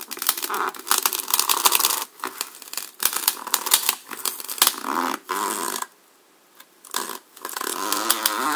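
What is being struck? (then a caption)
Polystyrene foam block. A serrated black knife blade is pushed down and sawn into the face of a solid white, hand-sized polystyrene foam block held in the hand. The cutting produces bursts of squeaky, crunchy scraping with bright, rasping texture, broken by short pauses and a near-silent gap around the six-second mark before the sawing resumes.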